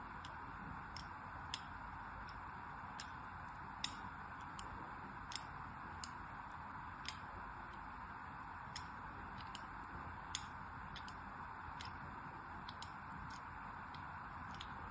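A thin blade scores diagonal lines over the embossed logo on a solid green Absolut soap bar held in the hand, scratching and cutting into it. Sharp, bright ticks and scrapes come at irregular intervals over a steady, quiet hiss.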